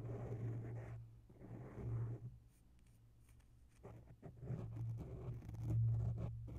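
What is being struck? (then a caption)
Foam microphone windscreen. Long natural nails slowly scratch both sides of a grey oval foam microphone windscreen, giving soft, muffled rubbing bursts over a steady low hum. A quiet pause in the middle separates the scratching, which then returns in quicker, more uneven strokes and swells louder near the end.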